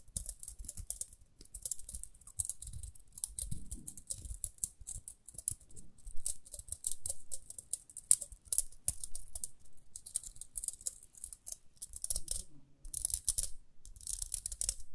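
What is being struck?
Plastic round hairbrush.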